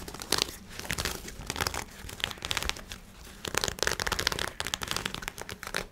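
Black lightweight nylon shorts with an elastic waistband and drawstring are held up in both hands and scratched and rubbed with fingernails. The result is a steady run of bright, crinkly fabric rustling and scratching, with louder bursts toward the end.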